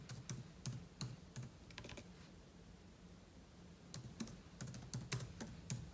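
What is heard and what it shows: Fingertips tap quickly on the plastic keys of a silver aluminum laptop, with an open book lying untouched beside it. Soft, low-thudding keystrokes with bright clicky edges come in a quick, uneven run, pause for about two seconds, then resume in a second burst.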